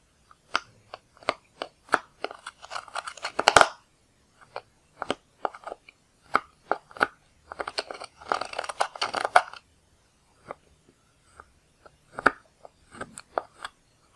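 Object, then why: Pressed powder eyeshadow in a plastic palette, scraped with a metal-tipped tool. A wooden-handled tool with a metal tip digs into and scratches the blue and green pressed powder pans of a black plastic eyeshadow palette. Short, dry scraping clicks come one after another, with denser, crumbly grinding bursts in between, centered around 1.2 kHz with a bright edge. Each scrape stops almost instantly, with brief silences between the strokes.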